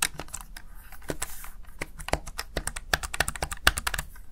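Fingertips press and tap the keys of a small black plastic backlit Razer Tartarus Chroma gaming keypad. About two dozen quick, dry clicks come in an uneven, rapid run, with sharp bright attacks that die away almost instantly over a faint low hum.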